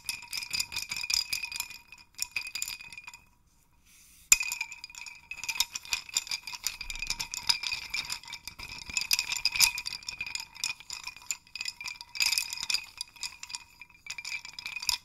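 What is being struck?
Hanging cluster of small wooden sticks on a dowel.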